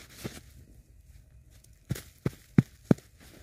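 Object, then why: Packed snow ball patted by gloved hands. Knit-gloved hands rub and pat a large, solid ball of packed snow held on a lap. A faint rub and soft pat are followed by a pause, then four quick, dull, low thumps in succession, each dying out almost instantly with no ring.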